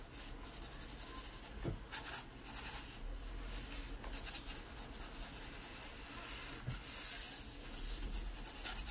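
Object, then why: Graphite pencil on paper sketchbook page. A yellow wooden graphite pencil draws lines and scratches across the page of an open paper sketchbook lying flat. The clip is a steady, quiet, papery scratching and rubbing with bright hiss in the strokes, over a low background rumble.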